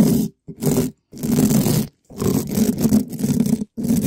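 A gloved hand scratches the side and top of a black metal mesh microphone grille, a hollow dome, with a red spiky rubber ball. Bursts of loud, rough scratching and scraping are separated by short silences, with the sound weighted toward a low-mid rumble around 200 Hz.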